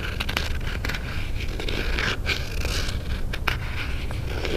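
A small, closed white cardboard Pandora jewelry box is held in both hands while fingernails scratch and tap across its lid. Dry, continuous scratching mixes with crisp, bright clicks over a steady low rumble. The sound stays at an even level throughout.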